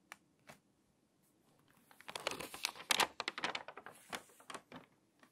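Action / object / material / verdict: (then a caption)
scrape / glossy paper magazine pages / paper / none. An open, water-damaged glossy paper magazine lies flat on a table while hands turn and flip its thin, crinkly pages. A few sparse crackles give way to a dense run of bright, sharp crinkling and rustling that peaks in the middle, then thins back out to scattered crackles.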